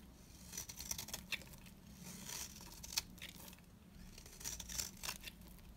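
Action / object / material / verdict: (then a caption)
scrape / bar soap scraped with a blade / soap / none. A box-cutter blade carves and scrapes a dry, beige oval bar of soap held in the hand, peeling off curls. Quiet, bright, crisp scraping strokes mix with short, sharp ticks as the blade catches and shaves, over a faint low hum.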